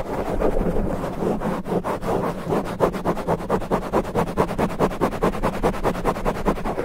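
Fingertips of both hands scratch fast and hard at the porous black foam cover on a microphone head. This gives a continuous scratchy rustle that breaks into rapid, rhythmic strokes, about two per second, with a low muffled rumble underneath and little bright content.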